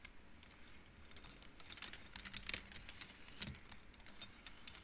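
Long nails and fingers slide the painted wooden beads along the rods of an upright wooden-frame abacus so they knock together. Quiet, dry, bright clicks and clacks patter in quick, irregular bursts, each dying away almost at once with no ring.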